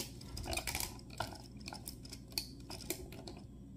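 Fingertips of both hands grip and move the detachable arm pieces of an assembled, hand-sized Lego mech built of hollow interlocking ABS bricks in green, grey and purple, with a clear dome cockpit holding a minifigure, standing on a wooden board. Quiet, sharp, bright plastic clicks and snaps come in irregular bursts over a low background rumble, each dying away almost instantly.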